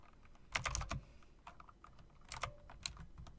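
Long dark nails and fingertips click the round plastic keycaps with chrome rims on an RGB plastic-and-metal typewriter-style mechanical keyboard. Sharp, bright clacks come in quick bursts, with a low thump under the louder strikes and softer taps in between. Each click dies away almost instantly.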